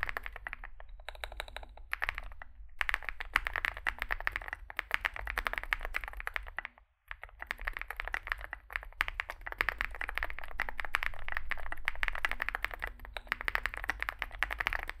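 Fingertips type continuously on a small 65% Zoom65 mechanical keyboard with a dark case and white and grey SA plastic keycaps. Dense, rapid clacks with a bright midrange peak sit over a low hum, broken by a brief pause near the middle before the steady typing resumes.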